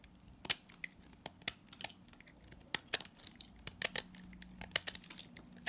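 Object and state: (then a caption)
Salt scrub soap bar being shaved. A box-cutter blade scrapes and shaves the surface of a palm-size orange solid salt scrub soap bar. A quick series of sharp, bright, crisp scrapes and crumbly crackles is heard, each stopping almost at once over a faint low hum.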